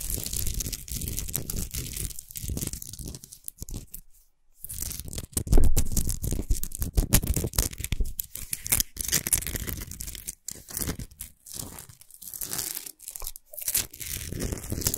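Fingernails rapidly scratch the surface of a tall Himalayan rock salt lamp of solid salt while the lamp is tilted and turned in the hands. Dense, gritty rasping runs almost continuously, with low thumping handling noise underneath and a brief silence near the middle.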